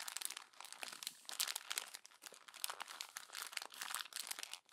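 A hand crumples a page of a glossy paper magazine into a wad and turns the next page. Dense, bright crinkling and crackling bursts fill the clip, with no low end and quick dropouts between grabs.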